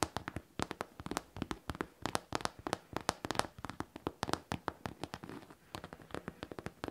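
Long teal-painted nails tap and scratch the top panel of a hollow, medium pink faux leather backpack with metal studs and a zipper. Dozens of quick, distinct taps land in an uneven run, each a bright, crisp click that dies away almost at once, with faint scratching between them.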